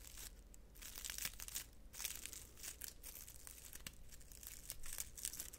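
Fingertips rub and squeeze a hand-sized bundle of dried purple flowers on pale green dried stems, held up close to a microphone. The brittle stems and flower heads give a dense, bright crinkling and crunching crackle in uneven bursts over a steady low hum.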